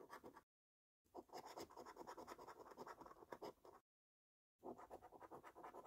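A metal coin, held between thumb and fingers, scrapes steadily across a thin paper lottery scratch card, flaking the scratch-off coating from the game boxes. Quick, rasping scratch strokes centred near 1 kHz come in three bursts separated by two short silent pauses.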